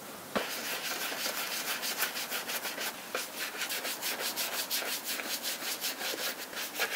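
A small dauber brush with a round wooden handle is rubbed and brushed in circles over the toe and heel of a hand-held black smooth leather lace-up Thorogood Postman shoe, which has a hollow upper over a rubber sole. A quick run of dry, bright, hissing strokes repeats in a steady rhythm, with a brief soft knock near the start and no low end, making a continuous scratchy scrubbing texture.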